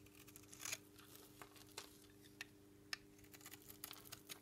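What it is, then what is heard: Dry bar soap. A metal knife blade repeatedly shaves and scrapes thin crunchy flakes off the edge of a palm-sized, solid white bar of dry Dalan soap held in one hand. The crisp, bright scraping clicks and crackles come in quick uneven bursts over a steady low hum.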